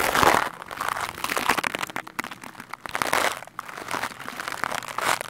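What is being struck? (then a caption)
Foam microphone windscreen. A large black foam windscreen on a microphone is scratched and brushed fast and hard with the stiff white bristles of a green plastic scrub brush held in the hand. Dense, crackling bristle scratches and rough brushing strokes rise and fall in bright, gritty swells with very little low end.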